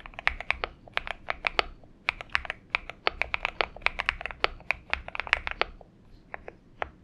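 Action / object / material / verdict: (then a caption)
tap / aluminum mechanical keyboard with PBT keycaps / aluminum, PBT plastic / none. Fingertips of both hands type continuously on a purple-backlit Xinmeng M71 70% mechanical keyboard with an aluminum case and PBT keycaps, resting on a desk mat. A rapid, uneven stream of short, sharp clacks with a bright upper edge, centered around 2 kHz, dies away almost instantly. There is little low end.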